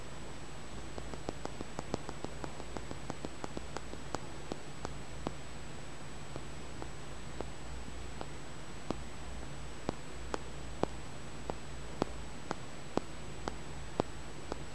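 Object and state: Turquoise tumbled stone.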